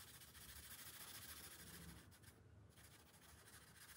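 A pink felt-tip marker rubs and scratches across the thin paper page of an open coloring book resting on a glass table, making back-and-forth coloring strokes. A steady, bright, scratchy rasp with a soft low rumble runs throughout. It briefly thins out near the middle before resuming.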